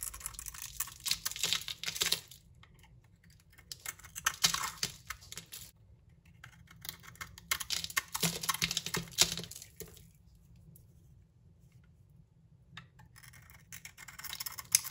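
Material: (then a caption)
Soap. A utility knife blade carves and scrapes crumbly chips from a solid hand-held bar of green soap coated in bronze and purple glitter. Four bouts of bright, crisp, crackly scraping are separated by near-silent pauses, each bout made of many rapid, dry ticks with very little low end.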